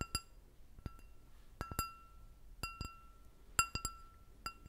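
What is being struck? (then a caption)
Stemmed glass goblet. An empty, clear glass goblet with a short stem is tapped ten times with long nails. Each tap gives a bright clink with a short ringing tone around 1.35 kHz and high overtones, and some taps come in quick pairs or triplets.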